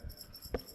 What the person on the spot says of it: when you shake them they have these beads inside so for athletes who are blind and siding period each one sounds different